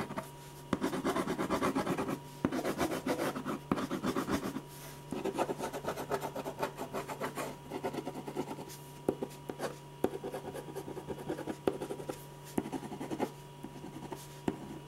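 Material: Paper.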